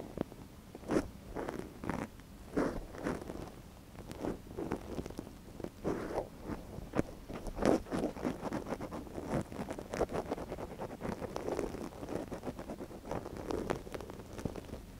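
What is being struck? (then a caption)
Silicone ear model scraped with a wooden ear pick. A gloved hand scrapes inside the ear canal of a soft white silicone ear model on a binaural microphone, resting on a yellow fabric surface, with a thin wooden ear pick. Close, dry scratching and crackling rustles come in quick, uneven strokes, mostly in the low-mid range with brief bright edges.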